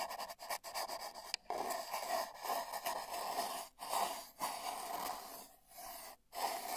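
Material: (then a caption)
Cardboard. Paintbrush bristles brush and rub along the surface of a long, hollow, spiral-wound cardboard tube, picked up by a microphone inside the tube. A series of soft, scratchy, breath-like swishes with a hollow midrange tone and bright hiss rises and falls, broken by brief near-silent gaps between strokes.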